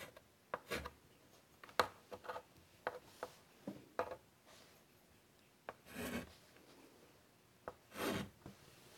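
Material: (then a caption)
Chalk. A hand draws with a white chalk stick on a large, flat black chalkboard set in a wooden frame, rubbing and scratching the chalk along the board. Quiet, sharp chalk taps and short scratchy strokes come in scattered bursts. Two longer, broader rasping rubs stand out near the end against a hushed background.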